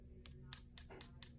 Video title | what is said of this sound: Acrylic Nails - BK Cosmo | If it sounds hard and hollow like that, it's done.